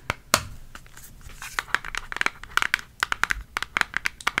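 Long acrylic fake nails tap and scratch a flat, thin, hollow pink ColourPop eyeshadow palette with a cardboard case, held in both hands. A soft scratching rustle gives way to a quick series of crisp, dry, bright clicks that stop almost instantly.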